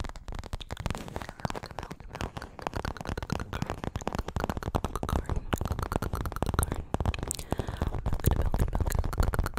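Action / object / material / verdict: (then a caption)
tap / paperboard milk carton / paperboard / none. A small, hollow, printed paperboard milk carton is held and tilted in front of the microphone while long acrylic nails tap and scratch it. The result is a dense stream of quick, dry, hollow taps with a deep, thumping low end, mixed with faint scratchy crackles that grow slightly louder toward the end.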